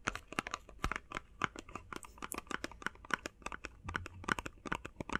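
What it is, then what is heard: Plastic and cardboard box. Fast tapping on a plastic and cardboard face mask box makes a rapid, uneven run of sharp, dry clicks. Each tap is brief and bright and dies out almost at once, with no ring.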